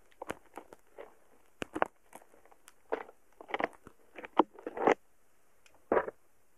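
A thin wooden stick repeatedly pokes and taps a solid, soft mound of purple slime packed with tiny polystyrene foam beads (floam) in a small cup. Each poke brings a short burst of crackly, popping clicks from the beads, scattered irregularly through the clip against near silence. The crackles are mostly midrange with faint bright tips and die away almost instantly.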